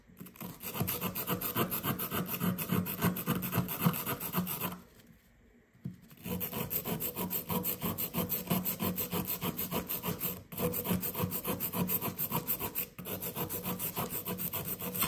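A blue plastic pick scrapes and chips at a fist-sized solid blue plaster dig block resting on kraft paper, steadied by one hand, with loose blue powder scattered around. Rapid, dry rasping strokes carry a low hum and a faint bright hiss. The scraping pauses briefly around the five-second mark, then picks up again at a steady pace.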